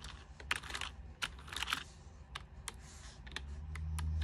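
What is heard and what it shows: Fingers with long nails tap and click across the keys of a white plastic full-size keyboard, and its backlight switches on partway through. The clicks are short, bright and dry, irregularly spaced over a steady low hum that grows louder toward the end.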